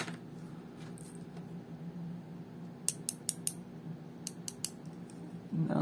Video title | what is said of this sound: What's inside? Planar IEMs. (featuring KZ PR1 and Kinera SPD) Brief History, theory of operation... | it definitely sounds like metal